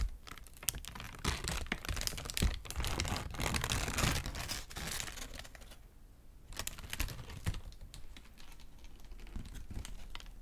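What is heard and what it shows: A thin white crinkled paper sheet is held in both hands and crumpled and crinkled with fingertips and nails. The result is dense, crackly rustling full of sharp little snaps, louder and more continuous for the first five seconds. It then dips to a brief quieter pause before sparser crinkles and clicks return.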